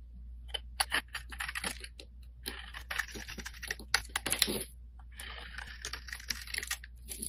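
A solid, hand-sized, light-blue oval bar of soap is scraped with a metal blade, and shavings and chunks break off. The sound is a quick run of crisp, bright scraping and crumbling clicks in uneven bursts, with a short quiet pause in the middle, over a faint low hum.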